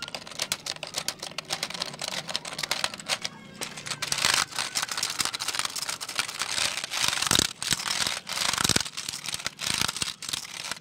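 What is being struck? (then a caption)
Plastic computer keyboard. A black plastic computer keyboard is held upright while fingertips type and tap on its keys. Dense, rapid, bright clicks and clacks overlap almost continuously, with a faint low hum under the first few seconds.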